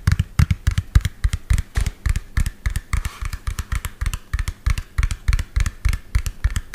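Fingernails tap rapidly on the plastic body of a hollow lime-green and yellow plastic toy truck, about 25 cm long, held close to the mic. About 38 short, dry knocks come in a quick, uneven rhythm, each a deep hollow thump with a faint clicky edge that stops almost at once.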